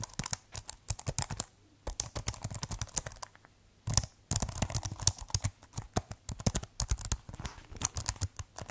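Fingertips type on the keys of a keyboard with a white plastic case, making quick bursts of sharp, bright clicks and clacks with a low thump under each keystroke. The clicks stop short with almost no ring, and the typing pauses briefly twice before picking back up.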